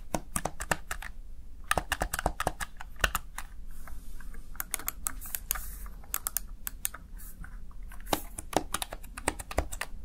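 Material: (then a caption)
Plastic. Fingertips press and tap the keys of a small black plastic backlit Razer Tartarus Chroma gaming keypad. A quick, irregular run of short, sharp plastic clicks with bright, crisp tops and almost no ring sits over a steady low hum.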